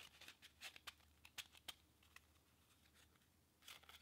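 A deck of pink/red-backed paper playing cards is held above a table and fanned and riffled through with the fingertips and thumb. Quiet, bright, crisp card flicks and snaps come in an uneven scatter of quick ticks, each dying away instantly over a faint low hum.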